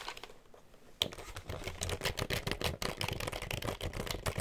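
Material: Plastic.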